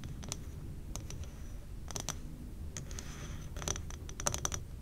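Long painted nails tap rapidly on the glass walls of a large, labeled amber glass jar candle, full of wax and burning, as both hands grip its sides. The taps are short, bright clicks that come in quick, irregular bursts and die away almost instantly, over a steady low rumble.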